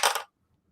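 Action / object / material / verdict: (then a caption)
drop / metal coin with damping mat on the back dropped on a table / metal / dead. A metal coin with Dynamat damping material on its back is dropped onto a table, landing with two quick bright clatters. The sound stops within about a quarter second with no ringing tail, a dead thud that shows the damping material at work.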